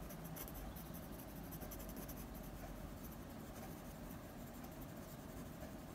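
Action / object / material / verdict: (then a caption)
scrape / pencil tip on drawing paper / paper / none. A blue mechanical pencil tip scratches short strokes around the nose of a drawing on the same sheet of drawing paper. The sound is a quiet, steady scratching with faint bright flecks over a constant low rumble.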